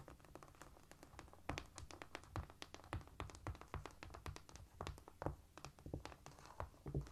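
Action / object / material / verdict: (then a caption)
tap / cork floor / cork / none. Quiet, rapid tapping on a cork floor produces a dense run of short, dull taps with a low, muffled body and very little brightness. Each tap dies away almost at once, and the taps come in quick, uneven bursts throughout.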